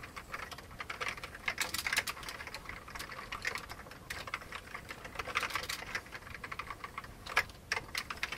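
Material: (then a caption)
Plastic. Both hands type rapidly with their fingertips on an old beige plastic computer keyboard. The result is a steady stream of dry, bright, clicky key taps centered around 1.7 kHz, with almost no low end. Each tap dies away almost instantly, and small bursts of louder strokes come through.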